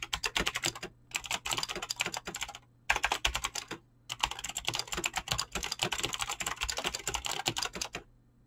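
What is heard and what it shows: Fingertips type fast on a Razer BlackWidow mechanical keyboard with clicky green switches and pink-blue dyed PBT plastic keycaps. Bright, sharp clicks come in rapid bursts with short pauses between them, each tap dying away almost at once with little low end.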